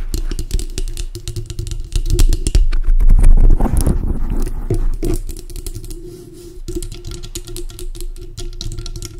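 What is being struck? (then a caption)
Foam microphone windscreen. Long acrylic nails tap and scratch quickly on a large dark grey foam windscreen covering a microphone. The result is a dense stream of soft, boomy low thumps and crackly rustles that swell into a louder, rougher scratching stretch in the middle, then settle back into steady rapid tapping.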